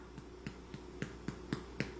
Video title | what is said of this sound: Ukrainian Easter Paska Baking, Part 5 | it has a hollow sound, you're probably good